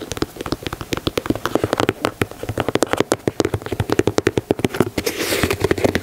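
Fingernails tap and scratch the heel collar and side leather of a white leather Air Jordan 4 sneaker, producing a rapid, dense run of short, dry clicks with a hollow tone around 360 Hz. Near the end, the tapping gives way to a brighter, hissy scratching across the leather before a few final taps.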